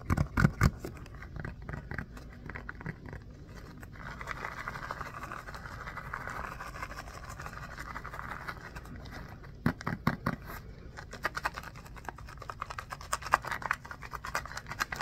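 A small orange textured rubber mini basketball is held in both hands while fingertips and nails scratch and tap its surface. Dull taps open the clip, then a steady mid-pitched scratching hiss runs through the middle. Another cluster of taps comes around the tenth second, followed by scattered sharp scratches toward the end.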